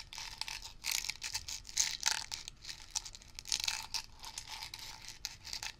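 Fingertips rapidly tap and scratch the blue plastic brush cap and bristle top of a medium-size, hollow Blue Coral upholstery cleaner aerosol can. The result is a steady stream of dry, crisp clicks and scratchy, crinkling rustles, bright and high-pitched with almost no low end. Each tap stops short with no ringing.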